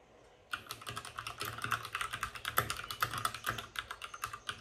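Fingertips of both hands type fast on a white RGB-backlit mechanical keyboard with plastic keycaps and a hollow plastic case. After a brief quiet start, a rapid, uneven stream of sharp, bright plastic clacks follows, each keystroke short with almost no ring and little low end.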